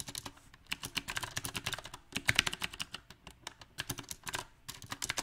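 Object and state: Mechanical keyboard typing.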